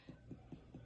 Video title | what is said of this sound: 216 head to toe assessment Allison whitworth | I'm gonna go over his liver and it sounds dull